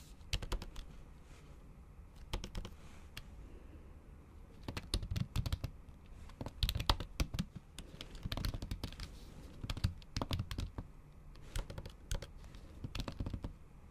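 A MacBook Pro keyboard with plastic keys under a thin pink patterned silicone cover is typed on with the tips of long acrylic nails. Bursts of quick, dull, low-heavy taps with sharp bright clicking alternate with brief pauses. Each tap dies away almost instantly.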